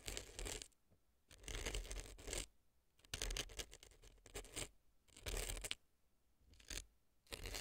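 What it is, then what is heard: Dry floral foam scraped in a silicone ear. A brown earpick scratches dry, crumbly floral foam inside the left ear of a silicone fake ear resting on a dry floral foam block. It makes bursts of dry, bright scratching and crunching with quiet pauses between them.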